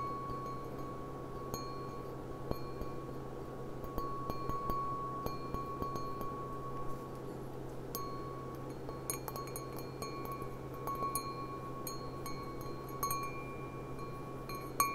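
Long fingernails tap the bowl of a clear, empty stemmed glass goblet with a gold rim, held in the hands. The taps make light, scattered ringing clinks with a clear tone near 1.1 kHz that fades quickly, over a steady low hum.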